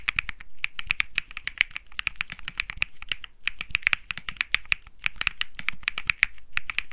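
Fingertips type rapidly on a compact Think 6.5 mechanical keyboard with an aluminum case, PC plate, plastic keycaps and Bsun Lollipop switches. The keys give a steady stream of short, crisp clacks with a bright click around 2 kHz and a soft low thock beneath. Each stroke stops almost instantly with no ring.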